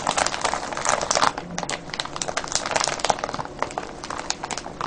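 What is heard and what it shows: Hands squeeze and crinkle a clear cellophane bag full of foil-wrapped candies, producing a dense stream of sharp, bright crackles and rustles. The crinkling is continuous and busy, with no low rumble and a slightly quieter stretch after the first second.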